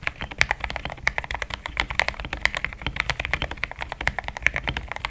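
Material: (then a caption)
Plastic. Fast fingertip typing on a compact pink-cased mechanical keyboard with thick cream XDA plastic keycaps, which sounds solid. It makes a dense, steady stream of short, dry clacks with bright tops and a clicky tone around 2.2 kHz. Each keystroke dies away almost instantly, with only a little low-end thump.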